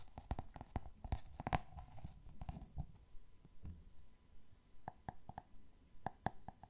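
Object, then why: Hardcover book with glossy cardboard cover. Fingernails tap on the glossy cardboard cover and spine of a solid hardcover copy of the book 'Rijmsoep'. The result is a quiet, irregular run of short, dry clicking taps that die away almost instantly, with mostly low body and a faint ringing tone in the midrange.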